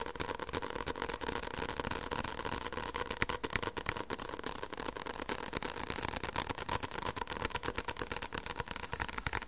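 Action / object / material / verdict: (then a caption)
tap / paperback book with card cover / paper / none. Fingertips tap fast on the card cover of a white paperback book with solid pages, held in the hands. A dense, steady stream of quick, dry taps sounds, each short and papery with no ring, and a broad soft rustle between them.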